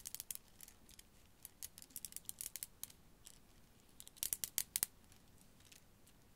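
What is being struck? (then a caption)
Strand of small glass beads. A strand of small faceted blue glass beads hangs from fingertips beside a furry microphone and is jiggled and shaken so the solid beads click against each other. About two dozen quiet, bright, very short clicks come in scattered clusters, with a denser, louder flurry near the end before fading to near silence.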